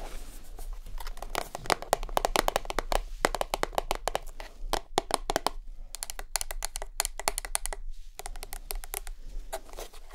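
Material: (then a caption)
Plastic. A small white rigid plastic Lurpak spreadable butter tub, lid on and held in hands, is tapped rapidly with long acrylic nails. The result is a dense run of sharp, dry clicks with almost no ring, coming in quick bursts with brief pauses, over a low background hum.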